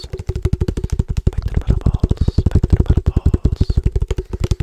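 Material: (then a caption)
Plastic. Fingertips tap quickly on the side of a hollow black plastic padel ball tube with a metal top rim, held in one hand. About 28 rapid, dull, hollow thuds follow in a steady patter, each low and clipped short with almost no ring.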